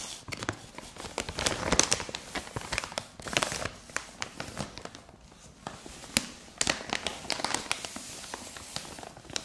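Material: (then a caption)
Plastic. Long nails tap, scratch and crinkle the surface of a white printed plastic mailer bag lying flat on carpet with soft contents inside. Bright, crackly plastic crinkling is broken by many sharp, quick taps that die away almost instantly, with little low end beneath them.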